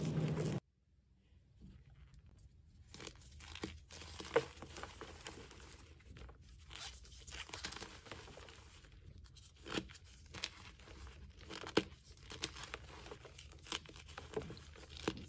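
Pink-red dyed gym chalk blocks of magnesium carbonate, solid and powdery, sit piled in a plastic tub while bare hands squeeze and crush them. After a brief opening burst, soft crumbling, crunching and tearing sounds follow with sharper cracks scattered throughout. The blocks break into crumbling chunks and powder.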